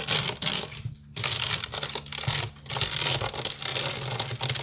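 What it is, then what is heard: Wicker basket scratched and tapped. Long nails scratch and tap fast across the weave of a large, hollow woven wicker basket resting on a table. The sound is a bright, crackly rasp in dense bursts, with a brief quiet gap near the one-second mark and a faint low hum underneath.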